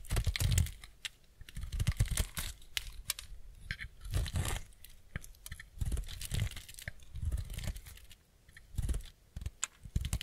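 A utility-knife blade shaves and scrapes curls off a small, solid piece of semi-dry white bar soap held in the hand. The result is a rapid series of short, crisp crunching and tearing strokes, each with a soft low thud and a bright, crackly edge that dies away almost at once. The scraping comes in uneven bursts with brief quieter pauses between them.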